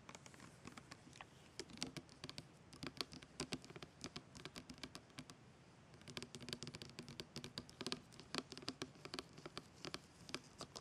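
Fingertips and nails of both hands tap quickly along the label of a plastic rosewater bottle lying on its side. The result is a soft, rapid patter of light, bright clicks that stop almost instantly, easing briefly around the middle before picking up again.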